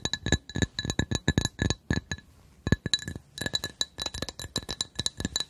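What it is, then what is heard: Glass coaster. A glass coaster is tapped with quick, light strikes for ASMR, making a rapid series of short, bright clinks over a dull low knock. Each tap carries steady high glassy tones that die away almost at once. The tapping pauses briefly near the middle, then resumes even faster to the end.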